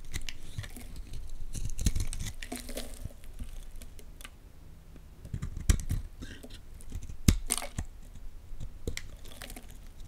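A partly carved orange Lux bar soap is held in the hands while a utility knife blade scrapes flakes off it. Dry, crisp scraping and shaving sounds come in uneven bursts, with a few sharper cuts that snap out brightly above a low rumble.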